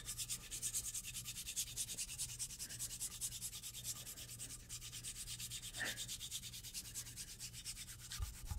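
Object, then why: Wooden cutting board. Long blue acrylic nails rub and scratch along the edge of a solid, light wooden cutting board held upright. The result is a fast, continuous run of bright, dry scratching strokes at about three per second, with a faint low hum underneath.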